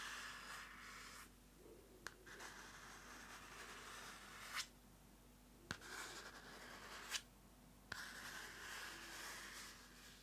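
Long nails and fingertips scratch and rub the cover of a small pink card-covered paper notebook held in one hand. Bright, papery scraping comes in bursts separated by quieter pauses, with a few sharp clicks standing out.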